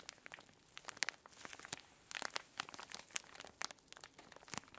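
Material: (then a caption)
Plastic. A hand-sized clear plastic zip-lock bag full of orange kinetic sand is pressed, squeezed and crinkled by fingertips and long nails. Quiet, bright crinkling and crunching crackles come in a dense run of short, sharp bursts with almost no low end.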